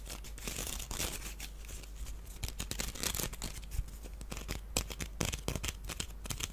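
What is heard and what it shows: A small, hollow, empty wicker basket shaped like a duck is held in the hands while fingernails scratch and tap across its woven surface. The result is a dense run of dry, crackly scratches and quick, clicky taps with bright, papery texture and almost no ring. A low, steady hum runs underneath.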